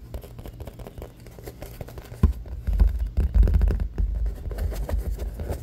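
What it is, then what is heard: Aluminum drink can. Fingertips and short nails tap and scratch the curved side of a medium orange-and-white printed aluminum beverage can lying on its side on a wooden table, its metal rim visible, hollow with unknown fill. Soft, irregular scratchy tapping gives way after about two seconds to louder, dull, low thumps that fade quickly, with almost no high end.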